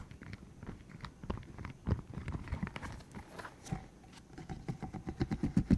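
A green hollow silicone tube about 15 cm long, covered in rubbery spikes, is held in the hands while its spikes are flicked, squeezed and rubbed with the fingertips. The result is a quiet, steady run of short, dry, low-heavy ticks and soft rubbery rustles, each dying away almost at once, with slightly louder flicks toward the end.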